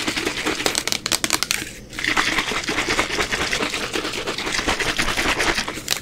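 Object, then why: Plastic rubbing alcohol bottle. A 500 mL white translucent plastic bottle of isopropyl rubbing alcohol, hollow and apparently holding liquid, is held in both hands and tapped and scratched quickly with long acrylic nails. Rapid, bright clicking taps mix with crinkly, rasping scratches, with a brief quieter moment near the two-second mark. The result is a dense, continuous patter of short, dry hits.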